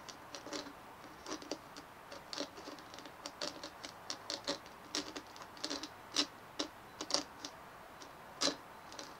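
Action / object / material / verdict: tap / fist-sized dimpled plastic ball / plastic / none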